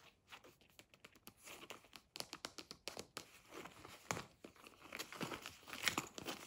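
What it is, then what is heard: Fabric pencil case with faux leather panel. A medium, hollow blue fabric pencil case with a printed beige faux leather front panel and badge is held, then set on a table while long nails scratch and tap the printed panel. A quick, uneven series of short, bright, crinkly taps and scratches is heard, with very little low end and almost no ring after each hit.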